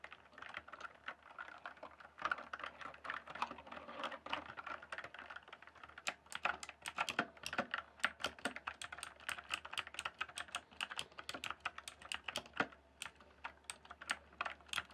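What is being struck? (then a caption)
Plastic computer keyboard. Fingertips type quickly on the keys of a full-size backlit plastic RGB computer keyboard. A steady stream of short, dry, bright clicks and clacks arrives in uneven bursts, and it grows sharper and more pronounced in the second half. Each tap dies away almost instantly over a faint low hum.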